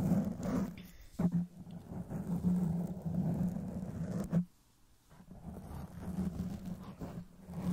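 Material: Foam.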